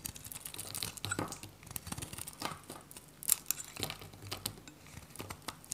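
A metal utility knife cuts and scrapes brittle flakes off a dry, solid white bar of soap with a purple rim, held in the hand. The clip is a dense run of short, crisp, bright crackling snaps and scratchy scrapes with a few sharper cracks, with little low end and no ring after each cut.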